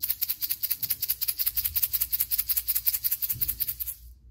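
A blue plastic egg filled with quite a lot of rice is closed and shaken rapidly for about four seconds. It makes a bright, dry, hissing rattle that stops abruptly at the end, the sound of rice inside the egg shaker.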